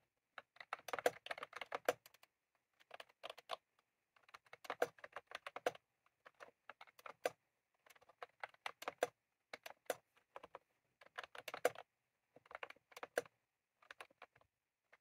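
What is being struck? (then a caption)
Plastic computer keyboard with round keycaps. Fingertips of both hands type on a white/cream plastic retro computer keyboard with round typewriter-style keycaps, resting on a desk. Quick, bright plastic key clicks come in bursts of rapid presses separated by short pauses, each click dying away almost instantly.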